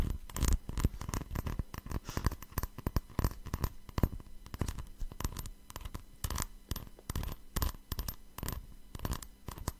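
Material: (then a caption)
Glass. A small, hollow cut-crystal glass jar or holder, apparently empty, is held in one hand close to the microphone and tapped and scratched with long fingernails. Rapid, irregular clicks and scratchy taps come in quick bursts, each dying away almost instantly, over a steady low hum.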